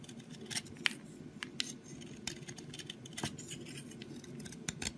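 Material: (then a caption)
Soap. A solid brown soap stick held in the fingers is shaved with a box cutter blade, curling off flakes. Quiet, bright scraping runs throughout, broken by sharp, crisp clicks where the blade catches and releases, over a soft low background.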